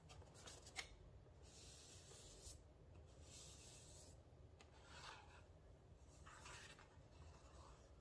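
A small printed paperboard box for a rosemary essential oil bottle, hollow with the bottle inside, is held in the hands and rubbed and scratched with fingertips and nails. Soft, dry rasping and scratching strokes come in bright bursts over a low, steady rumble, with one sharper tap near the start.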